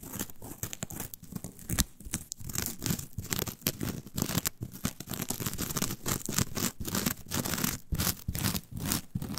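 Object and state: Coir fiber mat.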